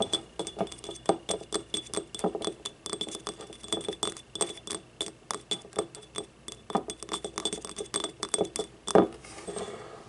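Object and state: Glazed ceramic ramekin.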